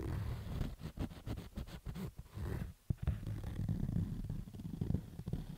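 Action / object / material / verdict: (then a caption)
scrape / fabric baseball cap / fabric / none. A fingertip scratches the fabric side of a black baseball cap with stitched fabric rows. The result is a quick run of rough, low, rumbling scratch strokes, with a brief near-silent pause just before a sharp scrape near the 3-second mark, then steady scratching to the end.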